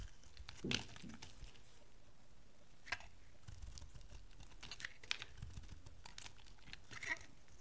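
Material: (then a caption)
Soap. A rectangular cream and blue bar of dry solid soap is held in hand and shaved into chunks with a metal utility knife blade. Quiet, dry crunching and crinkly scraping cuts sit over a low, soft rumble, with a few sharp, bright snaps as pieces break away. Each sound dies almost instantly.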